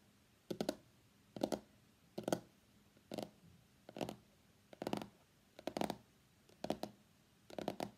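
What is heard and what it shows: Fingertips and nails tap the printed underside of a small, hollow, closed white cardboard iPhone X box lying on a mat. Nine short bursts of quick, dry tapping sound, each a cluster of two or three clicks with a hollow, papery body and a bright edge from the nails. Quiet pauses separate the bursts, and the taps die away almost instantly.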